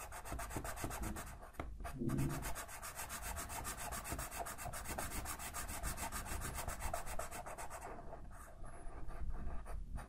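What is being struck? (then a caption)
Felt-tip marker on a paper sheet. A green felt-tip marker held in the fingertips rubs and scratches back and forth across a large sheet of white paper on a table, while the other hand holds the sheet. The strokes make a steady, dense scratching with a low rumbling body and a faint bright hiss.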